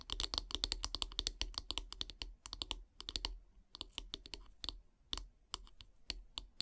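Long painted nails tap quickly on the solid wooden handle of a bristle brush. They make a fast, uneven run of dry, bright clicks that stop almost instantly, with short pauses between bursts. A faint low hum sits underneath.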